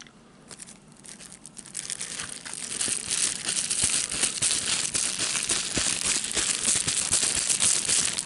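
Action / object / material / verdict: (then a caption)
scrape / plastic bubble wrap sheet / plastic / none. A hand-sized sheet of clear plastic bubble wrap with air-filled bubbles is held in both hands while the fingertips pop the bubbles and crinkle the sheet. The sound starts as faint scattered crackles, then builds after about two seconds into a dense, steady stream of bright, crisp crinkling punctuated by sharp little pops, continuing to the end.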